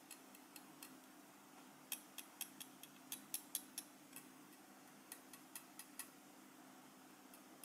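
A small solid gold-coloured metal lapel pin with a black enamel face is held in the fingers and tapped with the tip of a steel cheese knife. About nineteen quick, bright, high-pitched ticks with almost no ring are heard, uneven in spacing, over a quiet steady low hum.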